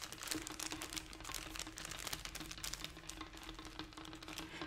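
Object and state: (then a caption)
Crinkled plastic snack wrapper. A small, colorful, crinkly plastic snack package is held in both hands and squeezed and crinkled with fingertips and nails. It gives a dense, continuous run of bright, crisp crackles and rustles over a faint steady low hum.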